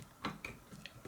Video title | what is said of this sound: The C3850 Clone Pre-Amp. A REAL review and test. | As you can see, everything about this transformer is loose.